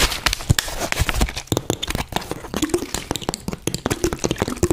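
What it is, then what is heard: Empty plastic water bottle. An empty, hollow, clear plastic Bisleri water bottle with a green cap is crinkled by hand, then tapped and scratched with long dark-painted nails. The result is a dense run of quick, dry clicks, crackles and hollow taps with short scratchy rasps between them.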